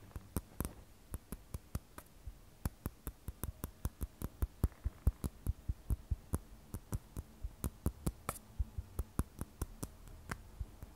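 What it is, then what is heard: Glass and stainless steel smartphone. Long nails tap and scratch along the stainless steel frame of an iPhone 12 Pro, a solid glass-backed phone held sideways and then turned on edge. About 41 short, dry clicks sound in an uneven rhythm, each with a bright tick and a dull low knock, dying away almost instantly over a faint scratchy hiss.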